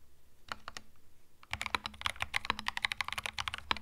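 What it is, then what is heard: Mechanical keyboard with plastic keycaps. Fingertips type on a compact cream mechanical keyboard with plastic keycaps. Three separate clicks come after a quiet start, then a quick, dense run of bright, dry clacks that stop short, over a faint low hum.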